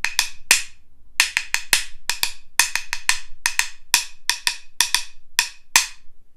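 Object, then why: Pair of wooden rhythm sticks. A pair of light, solid wooden rhythm sticks (claves), about 20 cm long and held in both hands, are knocked against each other in a steady beat. The result is 22 sharp, dry clicks with a bright tone around 2.5 kHz, each dying away almost instantly.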